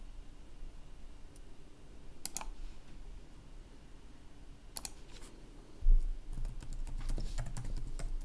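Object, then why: Plastic laptop keyboard. Fingertips of both hands tap the keys of a black plastic laptop keyboard while typing, giving short, bright clicks over a low steady hum. A few isolated taps come early, then a thump around six seconds is followed by a rapid cluster of keystrokes and a louder low rumble.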